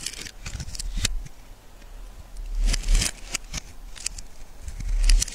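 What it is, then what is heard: Bar soap being sliced. A solid yellow oval bar of soap is sliced into thin flakes with a metal knife. Soft, irregular scraping and cutting sounds carry crisp, high transients, with a low rumble underneath.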